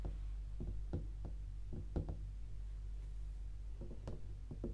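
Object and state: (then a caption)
Cardboard gift box. A closed, rigid, hollow white cardboard tea gift box with a red star print and a flat lid lies on a grey sofa, and long pink acrylic nails and fingertips tap and scratch its lid. Short, dull, low knocks sound over a steady low hum, each dying away almost at once.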